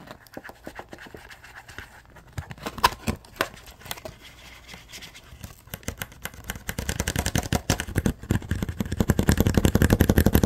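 Fingers scratch and crinkle a hollow, yellow-tinted clear plastic blister pack, making rapid, dry scratching clicks. The scratching starts quiet and sparse, then grows louder and denser over the last few seconds into a steady, fast crackle.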